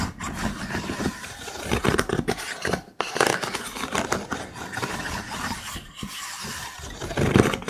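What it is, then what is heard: Wooden stick cylinder holder. Fingertips and nails scratch and tap the ribs of a wooden stick cylinder holder, a hollow cylinder of vertical thin wooden sticks. The result is a dense, dry rattle of quick scrapes and clicks with brief lulls around three and six seconds, then a louder flurry at the end.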